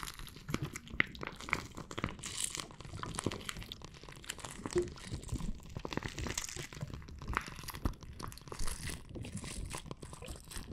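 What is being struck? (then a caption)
Plastic bag filled with water beads. A clear plastic bag full of red water beads is held up, squeezed and scratched with fingernails. Dense, irregular crinkling and soft squishy crunching run throughout, with bright scratchy rustles and a low, muffled squelch underneath.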